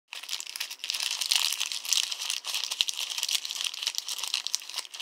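A small, crumpled thermal-paper store receipt, balled in the hand and light and hollow, is squeezed and crinkled between fingertips and thumb. It makes a dense, continuous run of bright, crisp crackling with almost no low end and only brief dips in loudness throughout.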